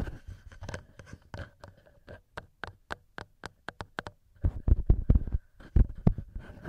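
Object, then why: Knurled metal microphone capsules. Fingertips and nails scratch and tap the heads of the small knurled metal XY microphone capsules on a TASCAM recorder. Close, dry, bass-heavy thumps and scratchy rustling give way to a steady run of separate quick taps in the middle, each dying out almost instantly. Denser, heavier scratching and tapping follow toward the end.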